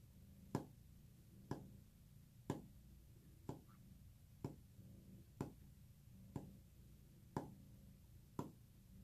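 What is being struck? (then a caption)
Wooden surface. Fingernails tap on a wooden surface, giving nine sharp, short clicks spaced roughly a second apart. Beneath the taps runs a steady low, rumbling purr-like hum, and each tap dies away almost instantly.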